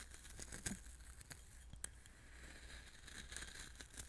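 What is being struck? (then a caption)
Coarse salt grains in a small glass bowl. Fingertips pinch, stir and rub loose coarse salt in a small clear glass bowl. The result is a quiet, dry, grainy crunching and crackling with bright high clicks, over a low steady hum. Two sharper ticks stand out near the start and middle.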